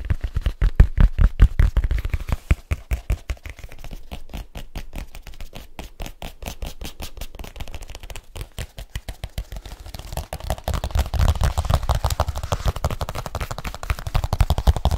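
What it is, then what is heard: Leather case. Fingertips tap rapidly on a partly folded black leather case, producing a dense, irregular stream of short, dull, low thuds that die away almost instantly. The tapping is louder in the first two seconds, quieter through the middle, and grows louder and fuller again after about ten seconds.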